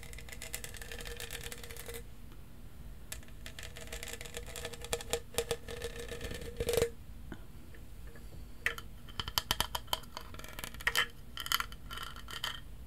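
A tall, hollow, lilac studded plastic tumbler with a lid and straw is held in one hand and scratched and tapped with fingernails. Bursts of dense, crackly scratching with a faint steady tone near 500 Hz alternate with quick, bright clicking taps over a low, quiet background hum.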